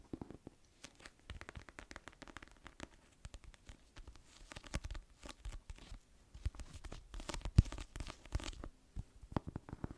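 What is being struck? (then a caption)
Paperback book with glossy paper cover. A small paperback novel, "Little Fires Everywhere," with a glossy paper cover, is held in both hands and tapped and scratched with long nails on the cover and spine. The result is quiet, rapid, dense clusters of short, dull taps with soft scratching in between. Some taps land sharper and louder near the end.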